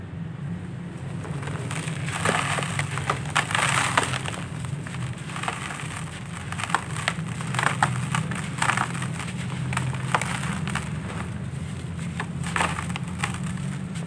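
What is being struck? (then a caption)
Lumps of sandy clay. Bare hands pick up fist-sized solid dry sandy clay lumps from a pile in a red plastic basin and crumble them, releasing dust. Dense gritty crunches and sharp crackles break out again and again over a steady low rumble, with the lumps breaking apart into fine crumbs.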